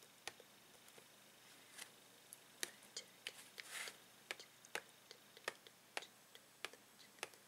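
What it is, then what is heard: Plastic blister pack tapped with fingernails. Fingernails tap the plastic bubble of a blister package holding a Tangle toy on a card backing. The result is a quick, irregular series of about twenty sharp, bright ticks with almost no ring and almost no low end, over a quiet background, with one brief hissy rustle near the middle.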